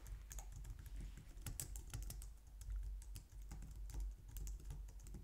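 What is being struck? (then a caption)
Plastic computer keyboard. Fingertips with long nails type on a white low-profile plastic computer keyboard resting on a glitter mat. Quick, light clicks and bright ticking taps run steadily through the clip over a low, soft rumble, each keystroke dying away almost at once.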